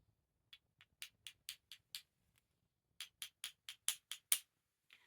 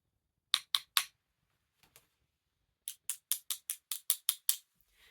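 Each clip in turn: First: genuine Bakelite jewellery. Second: non-Bakelite plastic jewellery.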